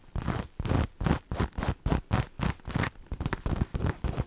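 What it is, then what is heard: Rhinestone-studded fabric boot being scratched. Long nails scratch along a soft, hollow black fabric boot or shoe upper dotted with rhinestones, held in hand. The result is a quick, uneven series of short, raspy scratching strokes with a dull, low-heavy body and little high sparkle.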